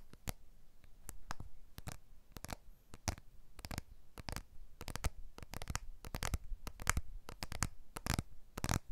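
A blue iPhone 12 with a glass back and aluminium frame, a small solid device, is held horizontally while fingers tap its glass back in sequence from index to pinky. The result is a rapid series of very short, dry taps with a low thump and a bright click on top. The taps come in quick clusters over a faint background.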